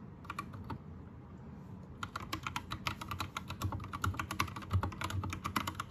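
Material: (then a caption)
Plastic. An Anne Pro 2 compact 60% mechanical keyboard with plastic keycaps, Gateron red switches and a teal backlight is typed on with the fingertips of both hands. A few quick keystrokes are followed by a short lull, then a steady, irregular run of crisp plastic clacks with a bright tap near 1.1 kHz and a soft low thump under each key, over a faint low hum.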